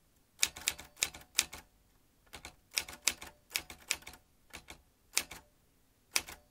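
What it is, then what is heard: Metal manual typewriter, typing. Fingertips of both hands press the round keys of a vintage metal manual typewriter, swinging its typebars. Sharp, bright, clacking keystrokes come in uneven bursts separated by short pauses, each strike stopping almost instantly with very little low end.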